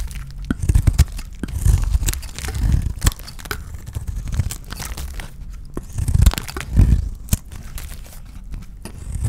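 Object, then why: Bar of soap. A solid cream rectangular bar of dry soap, held in the hand, is shaved with a utility knife blade, and curls tear off. Dull, low, crunchy scrapes and soft tearing come in uneven bursts with quiet gaps between strokes.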